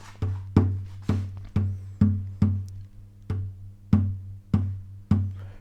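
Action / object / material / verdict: tap / wooden guitar soundboard / wood / none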